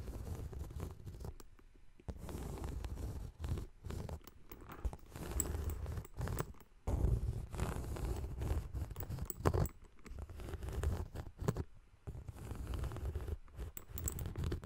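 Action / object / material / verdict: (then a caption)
scrape / faux leather handbag / faux leather / none. Long green nails scratch and tap the textured surface of a small, dome-shaped yellow faux leather crossbody bag with embossed lettering. The result is dense bursts of dull, low-heavy scratching and soft tapping, broken by brief pauses, with only faint bright edges.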